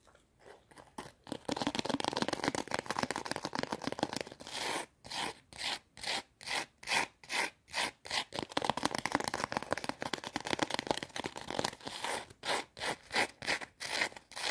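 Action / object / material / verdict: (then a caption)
scrape / thin fried potato chip / potato chip / none. A small, thin, brittle curved potato chip held between fingers is scratched and rubbed with long teal acrylic nails. At first it makes a dense, dry crackling rasp, then settles into quick rhythmic bright scratching strokes with short gaps between them.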